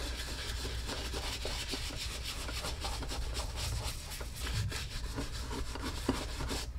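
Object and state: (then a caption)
Leather boot being brushed. A tan Lucchese leather cowboy boot hangs empty on a wall mount while its toe and vamp are brushed with quick back-and-forth strokes of a wooden-handled horsehair brush held in one hand. The result is a steady, continuous bristly rubbing and rasping with a bright, hissy texture over a low rumble, holding an even level throughout.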